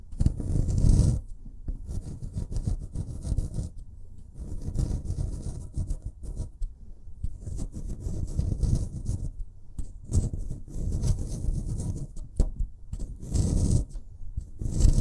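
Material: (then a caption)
Plaster. A solid white plaster excavation block is scratched and dug with a metal scraper pick, loosening plaster crumbs. Dense bursts of low, gritty scraping come in waves, with brief bright hiss at the peaks of each stroke.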